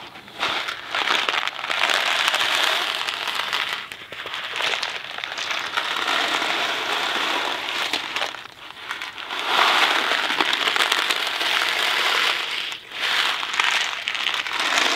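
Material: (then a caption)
Cardboard, pasta. A small Kraft macaroni and cheese cardboard box filled with dry pasta is held in one hand, turned and shaken. It makes a dense, bright, crackling rattle of pasta against cardboard, coming in long sustained bursts with short quieter dips between them.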